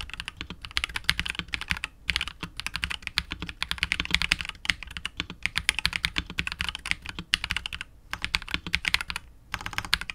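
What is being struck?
Plastic mechanical keyboard with plastic keycaps.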